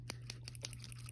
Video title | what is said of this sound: Fake Rolex review 💧 ❄️ | can hear it spinning around when i shake it like that